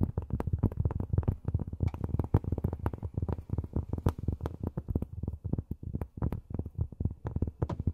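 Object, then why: Cork surface tapped with fingernails. Long fingernails tap rapidly on cork, making a steady stream of dozens of soft, dry, low thumps. Each tap is short and dull, with almost no ring and little high-end click.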